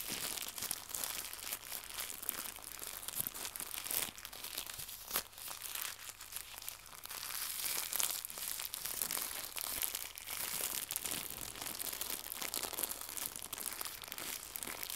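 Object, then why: Thin plastic packaging film. Fingertips crumple and stretch a small white translucent pack of plastic packaging film. A steady stream of dense, bright crinkling and crackling runs throughout, with quick snaps and little low end.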